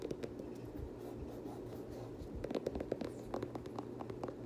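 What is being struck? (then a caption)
Plastic sneaker midsole. Fingernails scratch and tap along the white and blue plastic midsole edge of an Air Jordan 7 nubuck sneaker. A quiet, steady scratching runs throughout, with short, dry clicking taps that grow denser in the second half and stop instantly with no ring.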